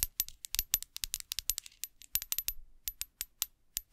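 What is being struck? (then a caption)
Small glass perfume bottle with metal cap, tapped with fingernails. A small, clear glass perfume bottle with a metal cap, hollow and partly filled with liquid, is held close to the microphone and tapped with long acrylic nails. It gives a rapid, uneven series of about 27 sharp, bright clicks and clinks, each with a high glassy ping that dies away almost instantly.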